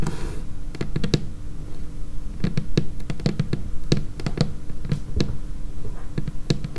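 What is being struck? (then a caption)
Laminated wooden tabletop. Long painted fingernails tap quickly on a dark laminated wooden tabletop, close up. A fast, uneven run of dry, short clicks, each with a low knock underneath and a bright tick on top, over a steady low hum.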